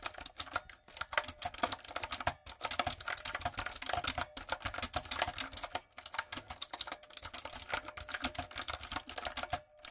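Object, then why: Plastic mechanical keyboard. A full-size, typewriter-style plastic mechanical keyboard with round plastic keycaps, a backlight and a hollow body is typed on with fingertips and long coffin acrylic nails. Rapid, bright, clacky key clicks run almost continuously, with each strike dying away at once. The typing stops for a few brief pauses along the way.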